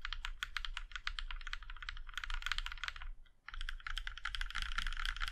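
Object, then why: Mechanical keyboard, aluminium case. A compact mechanical keyboard with a plum-red aluminum case and black keycaps is typed on, one hand's fingertips pressing individual keys one at a time. The result is a steady stream of short, clacky key taps with a bright click over a low hum, broken by a brief pause near the middle before the typing resumes.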